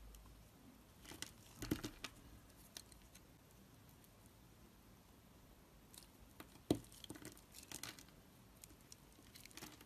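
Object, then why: Black soap bar. A utility blade scrapes and chips brittle flakes off the surface of an oval, solid black soap bar held in the hand. Quiet, dry crinkling and patter-like scraping runs throughout, with two sharper, louder chipping snaps standing out, one early and one later. Each sound ends almost instantly with no ring.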